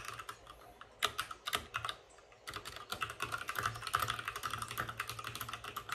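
Fingertips of both hands type fast on a white RGB-backlit mechanical keyboard with plastic keycaps and a hollow plastic case. The result is a rapid stream of short, bright, clacky keystrokes with a hollow mid-range tone that die away almost instantly. A brief lull comes near the two-second mark, then the typing resumes in a dense, uneven flurry.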